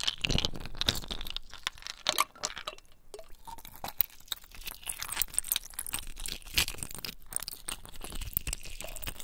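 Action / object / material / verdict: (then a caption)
scrape / ice cubes / ice / none. A handful of clear, solid ice cubes, held in both cupped, wet bare hands over a basin of ice water, are rubbed and clinked together with the fingertips. Dense, crunchy clinks and glassy ticks follow each other rapidly. The sound is bright and dry, with a low, wet undertone and very little ring.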